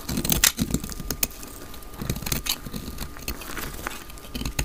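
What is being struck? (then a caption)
Soap bar cut with a knife blade. A solid, palm-sized dry white soap bar held in the hand is shaved with a utility knife blade, flakes falling away. Short, crisp, bright scraping and cutting strokes come in an irregular series over a low rumble, with a faint steady tone running underneath.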